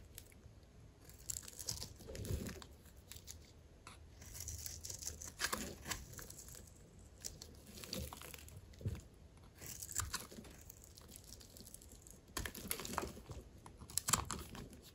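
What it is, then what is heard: Dry soap bar being cut. A solid, dry white soap bar held in the palm is cut by a metal blade that shaves off cubes and flakes. Each cut gives a dry, crisp crunch and a brittle tearing scrape with bright, hissy edges and a soft low thud. The bursts come in irregular strokes with short quiet gaps between them.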